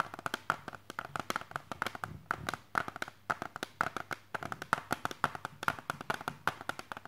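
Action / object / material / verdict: tap / plastic CD jewel case / plastic / none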